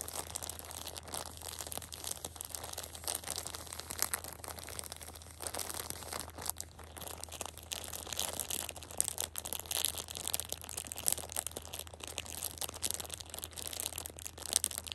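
A hand grips and squeezes the edge of a plastic-wrapped six-pack of pocket tissues, crinkling the plastic wrap. The result is a quiet, continuous stream of dense, bright crackling and crinkling for the whole clip, with brief louder snaps over a faint steady low hum.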